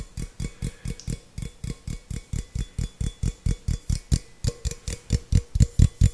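Fingertips and nails tap a small, hollow, empty stainless steel tumbler 26 times in a quick, slightly uneven rhythm. Each tap is a short, dull low thump with a faint bright tick on top. It dies away almost at once, with a faint metallic hum lingering between taps.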